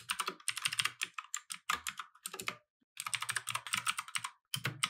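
Both hands type continuously with their fingertips on a compact 60% mechanical keyboard with light and red plastic keycaps, resting on a wooden desk. Rapid, bright plastic key taps and clacks come in quick bursts with brief pauses. Each click is dry, short and centred near 3.2 kHz, with little low end.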